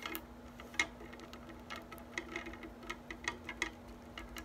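An orange silicone-coated balloon whisk with a metal handle has its wires tapped and plucked with long nails and fingertips, first held in hand and then lying on a table. Quiet, quick, bright ticking clicks sound in an irregular run, each dying away almost at once over a faint steady low hum.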